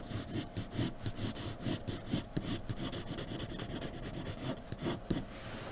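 A graphite pencil in a blue holder scratches quick strokes across flat white drawing paper on a dark table, shading the hair area of a drawing. The result is a rapid, uneven run of dry, bright scratching rasps, each stroke short and dying away quickly over a faint steady low background.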